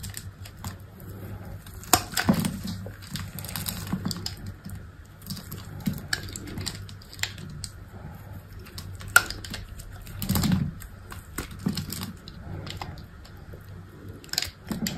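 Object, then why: Soap bar cut with a blade. A solid white rectangular soap bar with scored grid lines is held in the hand while a utility knife blade cuts and flakes off small cubes. Sharp, brief clicks and crisp scraping ticks come in irregular bursts over a low, steady hum, with a few louder snaps standing out.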